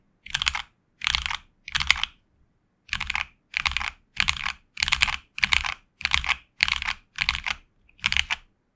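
Both hands type with their fingertips on a HyperX Alloy Origins Core tenkeyless mechanical keyboard with HX Red switches and grey and red PBT plastic keycaps, resting on a desk mat. Eleven short bursts of rapid, crisp clacking follow one another with brief silent gaps between them. The sound is bright and clicky with very little low end, and each keystroke stops sharply with no ring.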